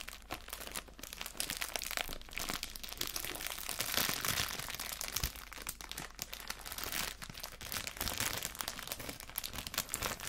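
A thin, clear plastic cellophane bag holding homemade Christmas cookies is squeezed and crinkled with the fingertips and moved around on a table. It makes a steady, dense stream of bright, crisp crinkles and crackles, with a few slightly louder crunches along the way and little low-end weight.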